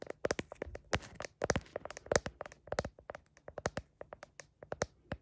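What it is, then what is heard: Plastic smartphone case. Long painted nails tap and scratch a glossy blue heart-pattern plastic case on a hand-sized phone, held up to a mirror, working around the camera lenses while the phone itself records. About twenty quick, dry clicks sound close and crisp, with a light bright edge and faint scratchy rasps between them. Each tap dies away almost instantly.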